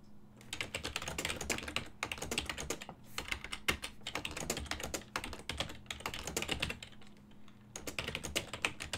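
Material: Plastic.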